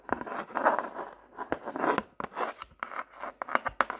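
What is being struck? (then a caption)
Hardcover paper notebook with cardboard cover. Long manicured nails tap and scratch the blank pages of an open medium hardcover paper notebook with a solid paper block. The notebook is then closed, and nails and fingertips tap its glossy cardboard cover, which is painted with a landscape. Dry, sharp clicks mix with soft, papery scratching in the mid range, and each tap dies away almost instantly.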